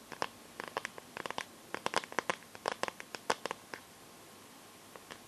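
Long nails tap and scratch the back and edges of a smartphone in a clear plastic case filled with liquid glitter. About twenty short, dry plastic clicks come in irregular quick clusters. Each one is bright and stops instantly, with a faint scratchy texture between taps.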